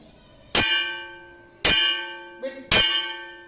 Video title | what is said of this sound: 3rd - EVS - Chap No 16 - حسی اعضا - V1 - VSchool | ये आवाज घंटी की आवाज। घंटी की आवाज।